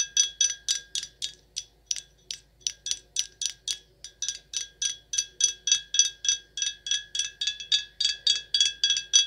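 Long acrylic nails tap a full, sealed dark glass red wine bottle with a paper label, making about 35 quick, uneven taps over nine seconds. Each tap gives a bright, short glassy ping pitched high around 3.3 kHz that dies away almost at once.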